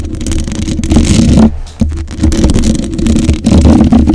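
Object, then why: Metal mesh microphone grille. Long acrylic nails tap and scratch the black metal mesh grille of a condenser microphone, producing dense, close scratching and rubbing with a heavy low rumble and a mid tone around 230 Hz. The sound briefly drops off twice as one hand lifts away, then resumes.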